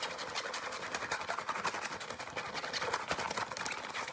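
A soft, hand-sized green and black nylon fabric pencil pouch with a zipper is tapped and scratched rapidly with nails and fingertips. The result is a dense, continuous stream of quick, bright scratching and tapping with almost no low end.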